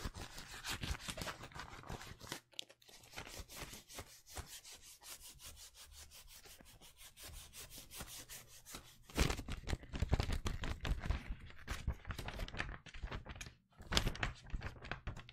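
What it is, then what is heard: Wrapping paper roll on cardboard tube. Fingernails scratch and rub along a blue penguin-print wrapping paper roll held in the hands, with a hollow cardboard core under the paper. Rapid, dry, papery scratching strokes carry a low, hollow resonance from the tube. The strokes soften through the middle, then grow louder and more forceful toward the end.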